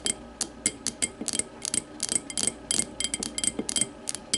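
An empty clear glass tumbler lying on its side is tapped rapidly with the long matte nails of both hands. About 18 quick, bright, clicky taps come in an uneven rhythm, each dying away almost instantly with very little low end.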